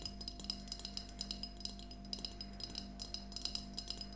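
A small, empty glass mason jar mug with a handle and a yellow plastic lid is held upright in both hands and tapped with long nails. About 28 quick, bright glassy clinks each fade fast over a steady low hum.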